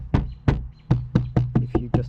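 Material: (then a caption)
Glass. Eight taps on the window glass of a non-BMW economy car's door. Each produces a dull, low knock around 120 Hz with a brief rattle. Despite extra soundproofing, the door body rattles noisily because the car's body is too flexible and everything vibrates.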